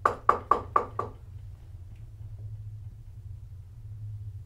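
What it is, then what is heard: Knocked glass pane. A glass pane is knocked five times in quick succession to demonstrate a knocking sound during a ghost hunt. Each knock is a short, sharp tap with a bright midrange ring that dies away almost at once. A low hum continues underneath after the knocks stop.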